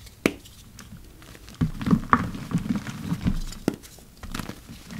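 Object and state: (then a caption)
Crumbling dyed gym chalk. A large heap of dry, purple-dyed gym chalk (magnesium carbonate), loose powder with crumbly chunks, is pressed and crushed by fingers in yellow rubber gloves. Soft, low crunches and crumbling patter come in uneven bursts, with a few sharp bright cracks as the chunks break apart.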